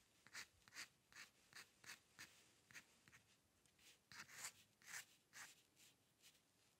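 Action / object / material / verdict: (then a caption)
scrape / steel dip pen nib on drawing paper / paper / none. A steel-nib dip pen with ink scratches fine hair strokes across a flat sheet of white drawing paper resting on a dark table. Quiet, quick, unevenly spaced scratches come through bright and high, each dying away almost at once, with very little low end.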